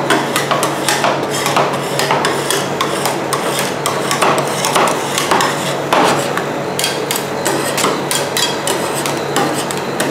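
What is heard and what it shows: Two metal spatulas with wooden handles knock and scrape a mound of frozen ice cream mix with Nutella and Filipinos against a large, round, flat, solid stainless steel cold plate for ice cream rolls. Quick, irregular metallic taps ring out bright over a steady scraping rasp. The clatter continues without a break throughout.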